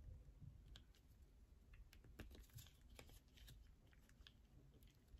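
Long nails scratch inside a hole dug into a solid yellow bar of soap held in the hands, then along its edge. The result is quiet: rapid, dry, bright scratching clicks over a soft low rumble.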